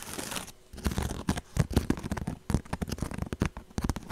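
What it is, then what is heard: Woven straw purse. A woven straw handbag is held up close to the microphone and scratched and tapped with long nails. Dry, crackly scratches and crisp taps come in quick, irregular bursts with a close, low-heavy crunch and almost no ring.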